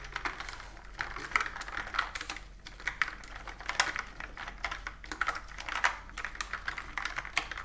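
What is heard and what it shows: Fingertips and long nails type rapidly on a pastel plastic mechanical keyboard with round typewriter-style keys and a hollow body, resting on a wooden table. A steady stream of quick, bright, clacky key strikes fills the clip, each snapping off with almost no ring and little low-end thump.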